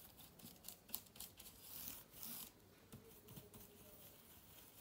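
A small soft brush is swept across the plastic keys of a silver laptop with an aluminium body, giving quiet, bright, hissy brushing and rubbing strokes. Faint irregular ticks and light clicks from the keys are mixed in, with a few louder sweeps around the middle.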